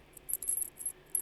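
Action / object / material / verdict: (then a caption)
shake / metal anklet with a small bell / metal / none. A metal elephant anklet with a little bell on the end is shaken close by, giving five short bursts of faint, very high tinkling jingles. Each jingle is brief, with quiet gaps between the shakes.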